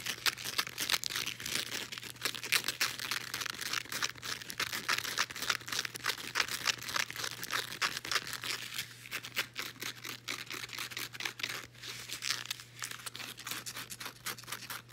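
Long nails scratch rapidly across a folded blue woven elastic fabric resistance band held close. The result is a dense, bright, crinkly scratching texture of quick irregular strokes over a faint steady low hum for the full fifteen seconds.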